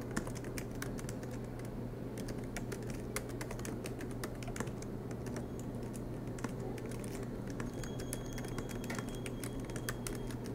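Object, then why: Aluminium laptop keyboard with plastic keys. Continuous fingertip typing with both hands on the low-profile black plastic keys of a silver MacBook Pro with an aluminium body, resting on a desk mat. Quick, soft, clicky taps with bright edges run over a steady low hum.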